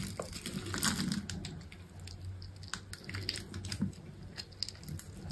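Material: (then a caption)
Soap. A rectangular solid bar of dry green soap with a dark outer coating, held in a hand with long pink nails, is scored into a grid and shaved with a small utility knife blade. Crisp, crunchy scraping and cutting clicks with bright edges sit over a steady low rumble throughout.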